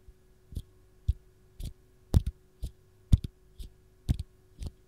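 Long gold nails tap and scratch the dimpled peel of a single whole raw fresh lemon held in the hand. Soft, dull, low thumps with faint bright ticks land about every half second, some as quick doubles, and each dies away almost instantly. A quiet, close-up series of muted taps follows, with near silence between them.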